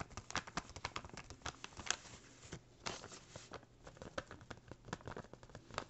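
An empty small brown kraft paper bag, flattened and folded, is scratched, rubbed and crinkled with fingertips and nails. Quiet, dry, bright crackles and scratches come in quick irregular bursts, with a brief softer lull midway. Each sharp rustle dies away almost instantly.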